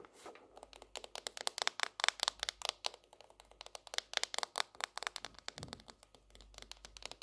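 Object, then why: Hardcover notebook with cardboard cover. Long nails tap rapidly on the edge and underside of a leaf-print tropical hardcover notebook held edge-on, giving about 35 quick, quiet, dry clicks. The taps are bright and crisp with almost no low end, and each one stops instantly with no ring.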